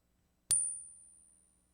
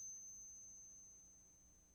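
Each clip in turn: First: non-silver clad quarter. Second: genuine silver quarter.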